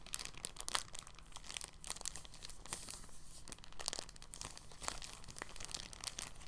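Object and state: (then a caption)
Soft plastic bag being crinkled. An empty, thin, clear polyethylene bag is handled and folded between fingertips, giving soft, continuous crinkling made of many short, bright crackles. The crackles stop quickly with almost no ring, over a faint steady low hum.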